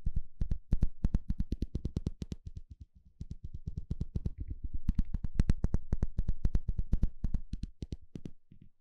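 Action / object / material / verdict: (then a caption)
flick / plastic fine-tooth comb / plastic / none. A small blue plastic comb with fine teeth, held in the hand, has its teeth scratched and flicked with a thin plastic stick. It makes an uneven run of short, dry ticks, about four per second, with bright tops and a soft low thump beneath. The ticks thin out briefly around the third second, then return louder and denser before tapering off.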